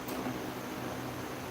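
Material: Nothing is struck.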